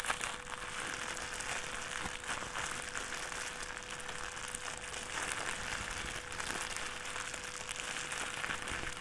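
A thin white plastic trash bag is balled up and crumpled repeatedly in both hands with the fingers. It makes a dense, continuous crinkling and rustling that is bright and crisp, with a faint steady hum beneath it. The level stays even for the whole nine seconds.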